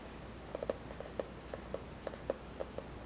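Fingertips and nails tap and scratch the printed cardboard cover of a spiral-bound notebook lying on a wooden table. About ten soft, dry, short taps sit around 540 Hz and die away almost instantly. Faint scratching and a low steady hum fill the background between them.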